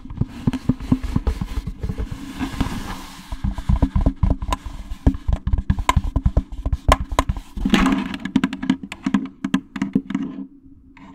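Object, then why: Plastic jack-o'-lantern candy basket. Fingernails tap rapidly and irregularly on a jack-o'-lantern candy basket, making short, dry clicks with a low, hollow thump under each one. Brief scratchy rubbing sounds come in between the taps, and the sound fades quieter near the end.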